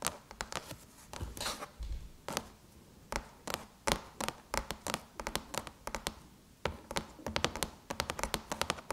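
Long chrome nail tips tap quickly on the lid of a closed silver aluminum MacBook, which sounds hollow. Dozens of sharp, bright clicks come in uneven bursts, each dying away almost at once, with faint scratchy touches between them.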